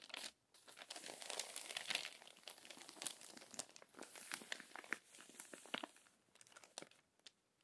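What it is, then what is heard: Crinkled glossy magazine pages. Long nails turn and flatten the crinkled pages of an open glossy paper magazine. The result is dense, bright crinkling and crackling with many sharp, quick ticks and rustles, no low-end weight, and brief pauses between passes.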